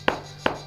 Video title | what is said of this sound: Ristrutturare una terrazza senza demolire il pavimento | you hear how it echoes This means that they are detached